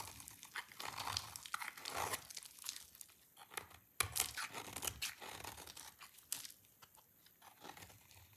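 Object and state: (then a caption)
Dry soap bar scraped with a blade. An oval bar of dry green soap, held in one hand, is scraped with a utility knife blade, and the shavings collect below. The clip is a dense run of dry, bright crunching and scraping strokes with brief pauses and no ring after each stroke.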